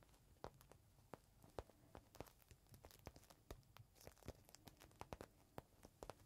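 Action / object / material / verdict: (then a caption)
scrape / thin plastic bag holding a folded cloth / plastic / none. Fingertips scratch and tap the surface of a small clear plastic bag holding a folded green microfiber cloth, resting on a palm. Quiet, crinkly scratches mix with a rapid, irregular run of short, sharp taps, each carrying a soft low thump and a bright plastic tick that stops almost instantly.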